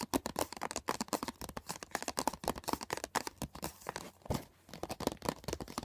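Fingertips and nails tap fast on the printed cover of a closed, thin and hollow hard plastic CD box set case lying on a blanket, then along its edge. The result is a rapid stream of dry, clicky taps with bright, crisp edges and almost no ring, broken by a brief pause near the end before the tapping resumes.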